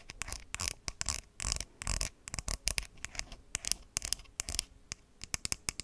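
Long white acrylic nails tap and scratch along the body of a hollow, hand-sized white plastic skincare squeeze bottle with a green flip cap, held close to the microphone. The result is a rapid, irregular run of sharp, dry clicks mixed with short bright scratching strokes, each dying away almost instantly.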